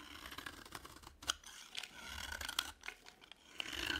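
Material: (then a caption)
Soap. A utility knife blade carves and scrapes the surface of a dry, cream-colored, palm-sized solid soap bar, piling up flakes. The sound is a continuous bright, crisp scraping and crackling, punctuated by a few sharper clicks as the blade bites in.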